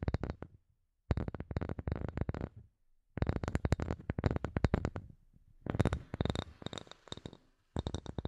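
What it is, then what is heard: Light bamboo wood block. Fingernails and fingertips tap and scratch a solid, palm-sized light bamboo wood block in quick, dense bursts separated by short pauses. The taps are dry, close clicks with a low, hollow body and almost no ring. Faint scratchy rustling fills the gaps between some bursts.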